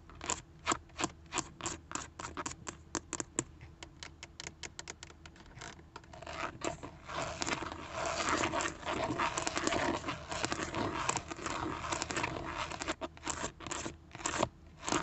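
Long painted acrylic nails in green, red and yellow tap and scratch on the chrome-and-gold Chevrolet emblem and the textured, grained plastic/vinyl airbag cover of a car's steering wheel centre, which has a hollow hub and is fixed in the car. Quick, sharp clicking taps come first, then give way to a steady, rasping scratch. The clip ends with a few more crisp taps.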